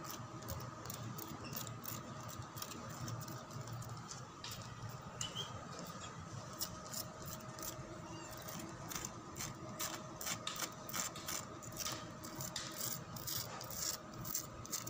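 Fingertips and long dark-painted nails scratch and rub along the bars of a solid, rough-textured, whitewashed concrete jali lattice wall outdoors. Quick, bright, dry scraping strokes come in rapid bursts throughout, over a steady low rumble and faint sustained tones in the background.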